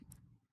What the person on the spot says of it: when you tap this the wood is being aware of my tapping and it's got a response that resonance you can hear